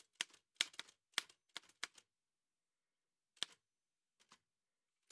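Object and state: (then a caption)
Metal manual typewriter. Fingertips in white satin gloves tap the keys of an old dark-grey metal Remington manual typewriter with a hollow body and paper loaded. The sound is a quick run of sharp, bright clacks, then a pause, a few sparser taps, and a final clack. Each strike is dry and short with almost no low end.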